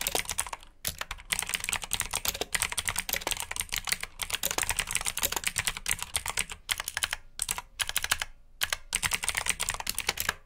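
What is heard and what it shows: Both hands type with their fingertips on a black plastic mechanical keyboard with clicky blue switches, giving a fast, steady run of sharp, bright clacks. The typing is broken by a few brief pauses, and each keystroke dies away almost at once.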